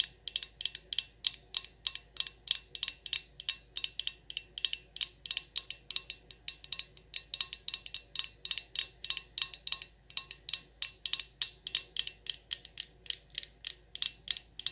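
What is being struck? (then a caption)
Glass candle jar filled with wax. Long nails tap quickly against the glass side of a Champagne Toast glass jar candle full of wax, producing about 75 short, bright clicks in steady bursts. Each tap is crisp and dies away almost instantly, with nearly all the sound in the high range.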